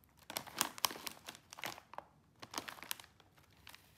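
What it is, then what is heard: Plastic foil snack bag being crinkled. A small, sealed, full bag of popcorn chips made of crinkly plastic and foil film is squeezed by bare fingertips and palms, crinkling and rubbing the bag. Short, bright crackling bursts come in irregular clusters with quiet gaps between them and almost no low end.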